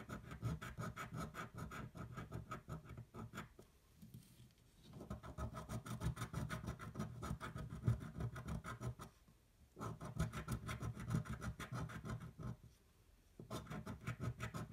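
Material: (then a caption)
Paper. A metal coin scrapes back and forth across the coated panels of a thin paper scratch-off lottery ticket resting on a table. Rapid, dense scratching strokes sound mostly low and grainy, broken by three short pauses before the scraping resumes.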